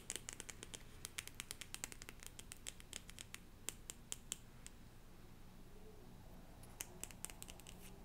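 Long painted nails scratch and tap the top card of a small deck of cardstock cards with a yellow print, held in hand. Quick, bright, dry clicks come in a busy run, pause briefly, then return over a quiet low hum, with faint scratching between the taps.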